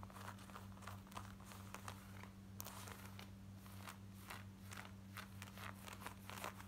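Long nails scratch quickly across the waistband and front pockets of worn black denim jeans. The result is a run of brisk, raspy scrapes over a steady low hum.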